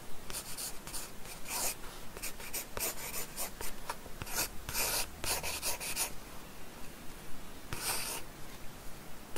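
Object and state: Pencil drawing on sketchbook paper.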